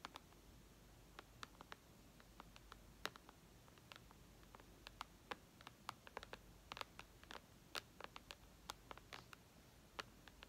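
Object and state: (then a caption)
Glass tablet screen. Long red nails tap and scratch the glass touchscreen of a white iPad lying on a tablecloth. About 38 quick, sharp clicks with bright, high edges stand out over a quiet, faint hiss, each dying away almost instantly, with soft scratching between them.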